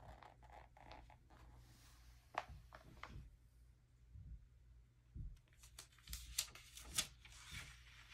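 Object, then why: Glossy paper magazine. A palm and fingertips rub across the glossy paper pages of an open early 2000s magazine, then a hand turns a page by its edge. Soft, bright rustling and brushing are broken by crisp, sharp paper snaps and flicks over a quiet, steady low hum.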